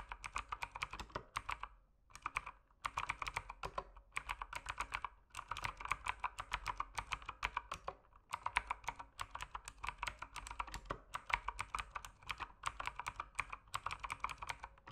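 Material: Plastic.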